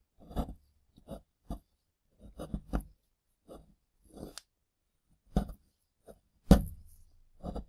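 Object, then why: Plaster dig block. A solid plaster dig block sits next to plastic ribs while gloved fingertips and a tool break up and scrape the crumbly plaster chunks. The result is a string of short, dry, low scraping and crumbling bursts with brief pauses, and the sharpest crack lands near the end.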